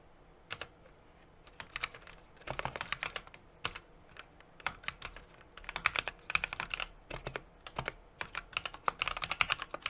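Fingertips type continuously on a small 60% mechanical keyboard with an aluminum case, a brass plate and plastic keycaps. Sharp, bright keystrokes arrive in irregular bursts and fast runs with short pauses between them. Each clack dies away almost instantly and carries very little low end.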